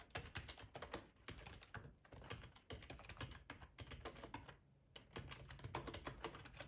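Fingertips with short nails type steadily on a hollow black plastic ergonomic split keyboard resting on a plaid tablecloth. Quick, dense clicky key taps clatter with a soft low thump beneath them. A brief lull falls around the middle before the typing picks back up.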